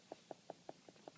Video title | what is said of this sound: Fuglekutting | nå treffer jeg ryggraden nedover her, det er ganske hardt